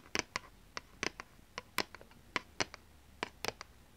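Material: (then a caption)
Plastic. A thin, rigid plastic PlayStation 2 game disc is held in the hands while long nails tap and scratch its surface. About 14 sharp, dry clicks and brief scratches ring out at an irregular pace, bright and crisp with almost no low end, each dying away almost instantly over a quiet background.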